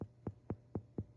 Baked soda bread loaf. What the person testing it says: sounds Hollow when you tap the bottom